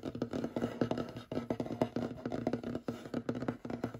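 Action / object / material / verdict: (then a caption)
tap / wooden tabletop / wood / none. Short fingernails of both hands rapidly tap and scratch on the surface of a large, solid, light wooden table. The result is a quick, uneven stream of dry, clicky taps with a warm, woody midrange body, mixed with brief scratchy strokes. Each tap dies away almost instantly.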